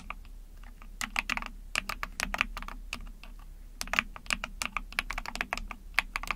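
Rapid typing on a small 44-key Epomaker TH40 mechanical keyboard with an ABS plastic case, PC plate and backlit pink and white keycaps, pressed with long painted nails and fingertips. Quick, bright, sharp clicks and clacks come in uneven bursts with brief pauses, each keystroke dying away almost instantly over a faint low hum.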